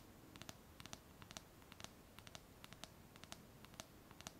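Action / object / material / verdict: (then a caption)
tap / small glass jar with wire clasp lid / glass / none. A small clear glass jar with a wire clasp lid, closed and filled with paper pieces, is held in the hands and tapped and scratched with long painted nails. About twenty quiet, short, bright clicks come in small irregular clusters, each dying away almost instantly over a soft low rumble and faint scratching.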